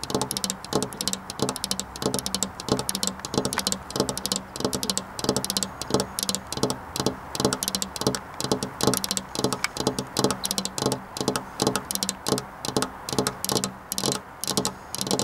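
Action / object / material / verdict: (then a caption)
tap / flat glass window pane tapped with fingernails / glass / none. Long black nails tap rapidly on a flat glass window pane, making a fast, continuous run of sharp clicking ticks. Each tap has a bright, high click over a faint glassy tone and dies away almost at once, so the tapping sounds dry and rattling.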